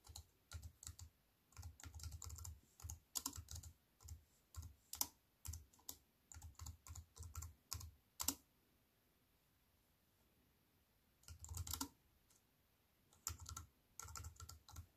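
Fingertips with long nails type on a compact aluminium and plastic wireless keyboard resting on a wooden table. Quiet bursts of quick, clicky taps carry a soft low thump and bright nail clicks, with short gaps between them. A longer pause falls mid-clip before the typing resumes.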